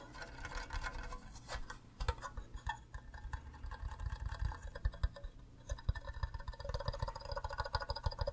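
Fingernails tap across the faces of an empty, green, hollow plastic cube mug shaped like a Minecraft creeper. The rapid, uneven taps give short, dull, hollow knocks with a low thump and a quick plastic click, and each one dies away almost at once.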